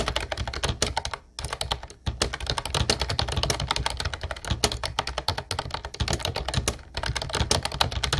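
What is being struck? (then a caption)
Plastic computer keyboard with round keycaps. Fingertips type continuously on a mint-blue plastic Ubotie retro typewriter-style keyboard with round white keycaps. The result is a rapid, dense stream of short, sharp clacks with bright plastic ticks over a low thocky body, broken by a few brief pauses.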